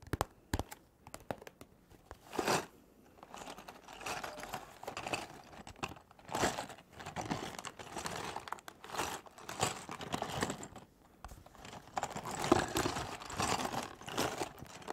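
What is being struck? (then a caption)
Small printed cardboard box. Long painted fingernails tap and scratch a small, hollow, printed cardboard LEGO Movie 2 set box that appears still sealed, held up in one hand close to the microphone. The result is quiet, dry, crinkly scratching and quick papery taps in uneven bursts. The sound is brightest in the upper range, with little low end.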